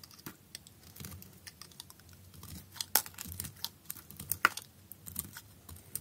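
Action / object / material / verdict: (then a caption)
scrape / bar of soap cut with a blade / soap / none. A utility knife blade shaves thin slices from a solid blue bar soap with holes held in the hand. It makes a quiet, irregular run of crisp, dry scraping ticks and crackles with a bright edge, and two sharper snaps stand out near the middle.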